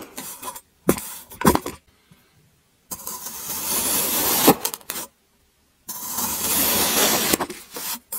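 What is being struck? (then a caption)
Block of kinetic sand cut with a serrated blade. A serrated metal blade cuts further into an already sliced mound of grey kinetic sand, making the sand crumble. Short crunchy cuts come first, then two long, bright, gritty scraping strokes separated by brief silences.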